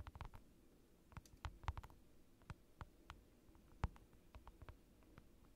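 Fingers tap on a large rectangular acrylic sheet lying on a desk, picked up by a microphone pointed down at it. Around eighteen quiet, short, dry taps fall at an irregular pace, each a soft low thud with a faint click and almost no ring.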